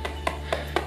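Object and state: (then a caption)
Laptop casing, not very hollow. Knocks on the body shell of an HP 14s DK1002AU laptop (AMD Athlon Silver) give four short, dull taps with little ring over a low steady hum. The casing does not sound very hollow, which indicates decent build quality.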